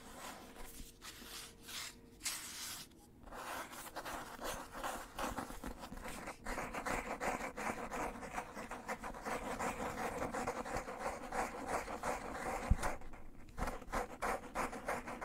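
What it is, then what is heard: Cloth-covered hardcover book, scratched. Fingernails scratch across the textured front cover of a black, cloth-covered hardcover book held upright, making a steady run of soft, dry, rasping strokes with bright, airy texture. The scratches repeat at an uneven pace for about fifteen seconds, with a few brief pauses and one sharper tap near the end.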